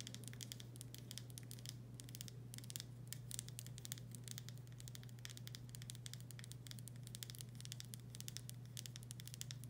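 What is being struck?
Glass jar with paper label.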